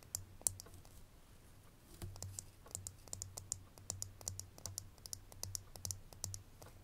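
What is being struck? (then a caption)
Small ridged glass perfume bottle with a metal band. Long fingernails tap on a small, full, ridged glass perfume bottle, hitting both the glass and its metal label band. The result is a rapid, uneven series of sharp, bright clicks that die away instantly, over a faint low hum that comes and goes.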